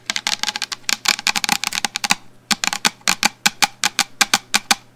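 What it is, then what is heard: Plastic shampoo bottle. Long fingernails tap continuously on a medium black plastic shampoo bottle held upright in front of the microphone. The result is a fast run of crisp, bright clicks with almost no ring and very little low end. A brief pause near the middle is followed by a steadier, more evenly spaced series of taps.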